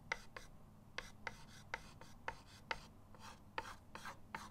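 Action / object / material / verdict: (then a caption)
scrape / chalk stick on a wooden-framed chalkboard / chalk / none. A white chalk stick is rubbed across a flat, solid chalkboard in a wooden frame resting on a table. It makes a series of short, dry rasping strokes with a bright, scratchy edge, each stopping quickly with almost no ring, over a faint low hum.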